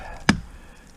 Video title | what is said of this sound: Dropping A Hickory Schoolmarm Snag; Nice, Dry Wood! | you can feel that vibrate. That bottom's getting real punky.